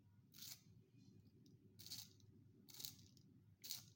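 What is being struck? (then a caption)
Wooden pencil in a plastic sharpener. A small, finger-sized solid wooden graphite pencil is twisted by the fingertips inside a small yellow plastic sharpener with a metal blade, which shaves the wood into curly shavings. Four short, bright, hissing scrapes sound at roughly regular intervals over a quiet, steady low hum.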